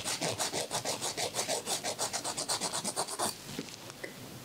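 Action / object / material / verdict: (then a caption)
scrape / emery nail file on fingernail / emery, nail / none. A thin, solid white emery board, held in a woman's fingertips, is rubbed back and forth against a man's fingernail in steady filing strokes. About sixteen quick, dry, raspy scrapes with a bright, hissy edge run for roughly three seconds. The filing then stops, leaving only a faint, quiet hiss.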